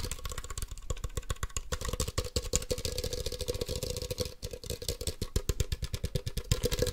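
A hand-sized hollow plastic Ultra Ball toy, a black, yellow and white Poké Ball, is held in one hand and tapped fast with the fingertips and nails of the other hand. The result is a dense, continuous stream of quick hollow taps with a low thumping body, a faint ringing mid tone and bright clicky nail edges. The taps stay steady and rapid for the whole clip.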